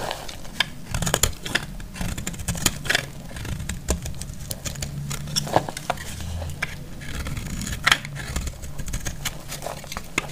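A metal utility blade cuts into a solid, pale yellow bar of dry soap, making crackly shavings. Rapid dry crackles and sharp bright snaps come in uneven bursts, each dying away almost at once, over a steady low rumble.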